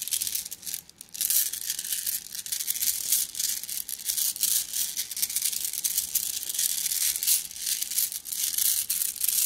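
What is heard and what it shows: A plastic mesh bag of flat blue glass gems is squeezed and kneaded by hand, giving a dense, continuous stream of bright clicking and gritty rustling. The sound is almost entirely high and crisp with no low end, dipping briefly near the one-second mark before carrying on steadily.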